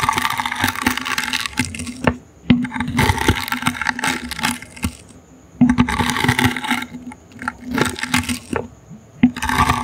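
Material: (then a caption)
Wicker. A small, hollow, brown woven wicker basket held in the hand is scratched with the bristles of a toothbrush. Bursts of bright, dry scratching alternate with short quiet gaps, and crisp crackling ticks come as the bristles catch on the weave. A faint steady hum sits underneath.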